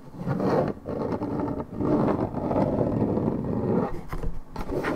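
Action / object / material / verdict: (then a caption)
scrape / coated paperboard juice carton / paperboard / none. Long red nails scratch the top side panel of a hollow Minute Maid 1.75 L coated paperboard orange juice carton, fill unknown. The result is a dense, continuous papery rasp, mostly low-mid with little high content, broken by brief dips between strokes.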